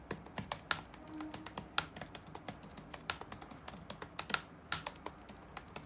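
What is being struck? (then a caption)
Plastic laptop keyboard keys. Fingertips type rapidly on the black plastic keys of an open laptop resting on a wooden desk. About two dozen short, bright clicks and taps come in quick succession, each dying away almost instantly, with some louder than others.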